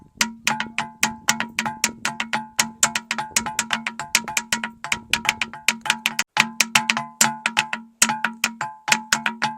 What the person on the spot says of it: సప్త స్వరాలని రాళ్ల ద్వారా కూడా ఒక సంగీతాన్ని రప్పియొచ్చు